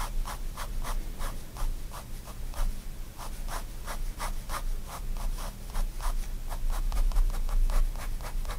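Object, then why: Fine liner pen on a paper sketchbook sheet. A fine liner pen draws dense, short hatching strokes on white sketchbook paper resting on a desk. Quick, fairly irregular dry scratches repeat steadily, each a short, bright burst of friction over a constant low hum.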